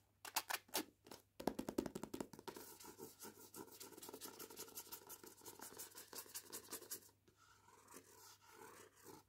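Long painted nails scratch and rub the card cover of the paperback book "Cuts Both Ways", held in hand. A few sharp, bright scratches come first, then a dense, steady run of rapid scratching that fades into softer, quieter rubbing near the end.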